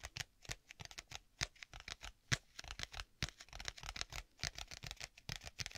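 Fingers tap rapidly on the cover of a black stitched leather folio tablet case, giving about thirty quiet, dry, short taps at an uneven pace. Each tap is a soft, bright click with a slight low thump and almost no ring.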